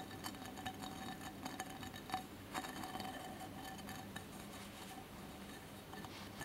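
Fingertips and nails of both hands tap and scratch the sides of a small cylindrical candle holder covered in colored cracked-glass mosaic, with a lit candle inside. Irregular, quiet glassy clicks and taps, with a faint short ring around 750 Hz, sit over a continuous soft, bright scratching hiss.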